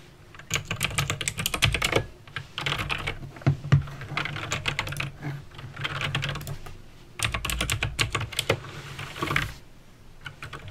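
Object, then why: Plastic mechanical keyboard. Fingertips type on a backlit mechanical keyboard with plastic keycaps and clicky green switches, producing fast, bright clicks in bursts. The bursts are separated by brief pauses, with a low thock beneath each click.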